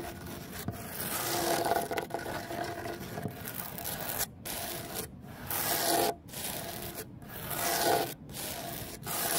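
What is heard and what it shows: Fingernails scratch and scrape across the rough surface of a large, solid cement terrazzo stone bench with embedded stone chips. The result is a steady, gritty rasping with bright high-frequency hiss. In the second half, short silent gaps break it into separate strokes.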